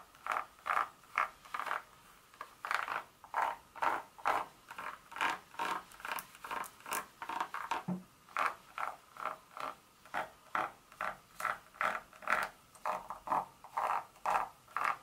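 Long nail tips scratch along the segment grooves of a solid dark chocolate bar lying flat. The result is a steady run of short, dry, raspy scrapes, about two per second, each centered in the midrange around 1.4 kHz with a little bright hiss and almost no low end. Each scrape cuts off quickly.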